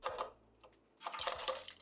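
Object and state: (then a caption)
Crispy air-fried chicken wings. Air-fried chicken wings are handled in the basket, producing short, bright crackling and clattering bursts, a cluster at the start and a denser run after a quiet pause. The wings are very crispy, and their crunch is clearly audible.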